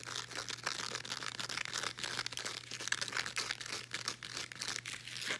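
Long nails scratch and rub across a folded blue woven elastic fabric resistance band, making a dense, bright, scratchy crinkle of rapid strokes. The rasping texture runs nearly continuously with constant swells and dips, over a faint steady low hum.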